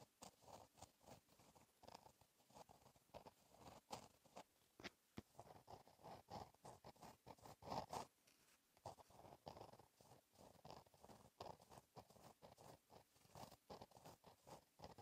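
A gel pen tip scratches across a flat black lined paper notebook page while writing cursive. The result is a quiet run of short, dry scratching strokes, centered in the mid range with some brighter edges, and brief pauses between word groups.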